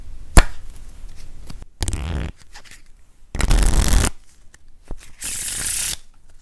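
A hand-sized, solid deck of thin coated-paper playing cards with purple backs is cut and fanned into packets by fingertips, then bent and riffled between both hands, flicking the card edges. A sharp snap opens the clip, followed by light taps and three separate rushing, fluttering riffle bursts with a bright crackle, the last one the hissiest.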